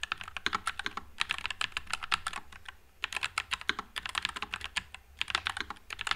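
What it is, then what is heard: Mechanical keyboard with plastic keycaps. Fingertips type continuously on a white low-profile Nuphy Air96 mechanical keyboard with Wisteria switches and plastic keycaps. Dozens of quick, bright clicky keystrokes come in bursts with brief pauses, each dying away almost instantly with little low end.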